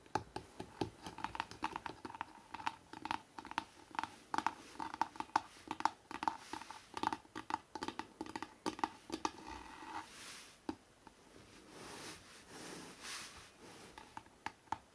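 Fingertips tap rapidly on the front cover of a hardcover book with a New York skyline photo, making dense, dry clicks and hollow knocks. After about ten seconds the tapping gives way to softer scratchy, brushing swishes across the cover, broken by a few sharp taps.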